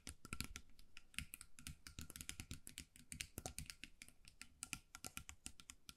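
Long nails tap and scratch quickly over the glued colourful beads covering a small hollow metal mug with a wire handle, held in both hands. The result is a dense, rapid run of dry, bright clicks with low, hollow thumps underneath, each tap dying away almost at once.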